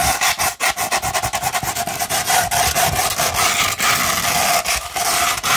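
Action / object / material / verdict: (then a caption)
scrape / sandpaper sheet rolled into a tube / sandpaper / none. Long red nails scratch up and down a sandpaper sheet rolled into a hollow tube. The result is a steady run of gritty, bright rasping strokes with a faint hollow ring in the mid range. The strokes come quickly and chopped at first, then blend into a more continuous scrape.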